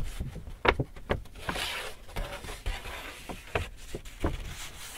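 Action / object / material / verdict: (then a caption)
scrape / paper shopping bag / paper / none. Fingers scratch and crinkle a large, hollow, empty white Hudson's Bay paper shopping bag held in front of the body. The result is close, dry rustling with a series of sharp, bright crackles over a soft low thump of the handled paper.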